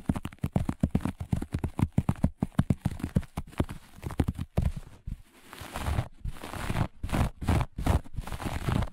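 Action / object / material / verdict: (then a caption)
scrape / looped pile carpet / carpet fibre / none. Long nails on both hands scratch and claw at the pile of a flat, looped grey-beige carpet. The result is a fast, dense run of short, dry, rasping strokes, weighted toward a low, muffled thud-like texture. Around the middle the scratching briefly softens into a quieter rub before the rough clawing picks up again.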